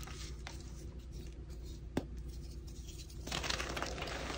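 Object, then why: Heap of crushed gym chalk powder rubbed by hand. Both chalk-covered hands press, rub and scrape their fingertips and short nails through a large loose heap of orange-tinted crushed gym chalk (magnesium carbonate powder) and crumbs on a flat surface, with no whole blocks handled. Soft, gritty rustling and faint patter sit over a steady low hum, broken by one sharp tick midway. In the final second the scraping grows louder and brighter.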